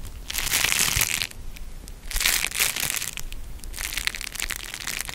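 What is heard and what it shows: A thin, hand-sized, folded sheet of beeswax-coated cotton food wrap, printed with an orange and red leaf pattern, is held up and crinkled and bent between the fingers. It gives dry, bright crackling and crunching in three bursts, with short quieter gaps between them.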